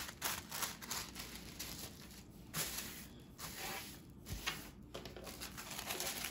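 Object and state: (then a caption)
Tissue paper sheet. A large, thin white tissue paper sheet with small glitter flecks, spread on a wooden table, is lifted and smoothed by fingertips with long dark nails. Bright, airy crinkling and rustling rise and fall in soft bursts throughout.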